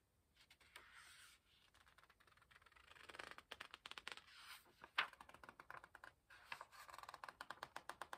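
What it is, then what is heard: Paper book pages being rubbed and flicked. Fingertips rub and flick the paper edge of a page while turning it in an open hardcover book. Soft, quiet rustling builds into a quick run of crisp, bright ticks and light scrapes, with one sharper snap near the middle.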